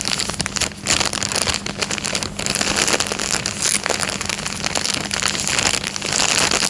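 A thin, clear, empty plastic coin bag is folded into a triangle and crinkled with the fingertips on a fabric couch. Dense, bright crackling and rustling runs continuously through the clip with a faint steady low hum underneath.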